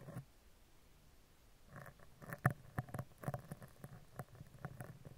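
A spoolie brush scratches down the right side and then the left side of a hollow steel mesh microphone grille. The result is close, dry scratching with quick, short ticks and a low, muffled body. Clusters of sharper scrapes come in the middle of the clip.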